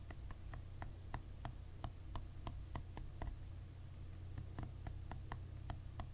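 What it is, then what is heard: Ridged plastic hairbrush handle. A short fingernail scratches and taps across the ridges of the brown, ribbed, rubbery plastic grip on a hairbrush handle lying on a white surface. It makes a quiet, irregular series of short, dry ticks that die away almost instantly, over a steady low hum.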